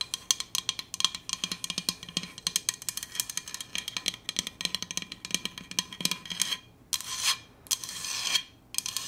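Long acrylic nails tap and scratch along the coated sides of a large, hollow, red powder-coated Hydro Flask stainless steel insulated water bottle with a black plastic lid, held in the hands. For about six seconds, quick, bright, clicky taps come in a dense, uneven patter with almost no ring. A few longer rasping scratches sweep along the surface toward the end.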